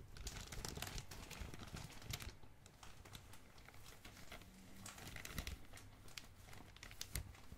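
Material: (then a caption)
Plastic. A medium glossy black, blue and red plastic packaging bag is squeezed and crinkled by thumbs and fingers. Quiet, continuous crackling is heard, with many sharp, bright snaps scattered through it over a low rumble. The crinkling fades slightly in the middle before picking up again.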